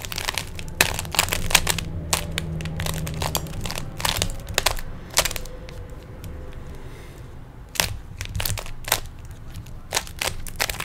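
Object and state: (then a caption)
Plastic puzzle cube being twisted. Fingertips twist the layers of a small hollow plastic 3x3 Rubik's cube, producing a rapid, irregular series of sharp, bright plastic clicks and crackles. The clicks come in bursts with short, quieter gaps, over a steady low rumble.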